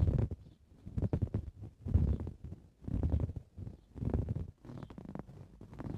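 Both hands with blue-painted nails scratch a green woven fabric cushion. The scratching comes in muffled, low-heavy rasping bursts, roughly one per second, with uneven spacing and quieter scrapes in between.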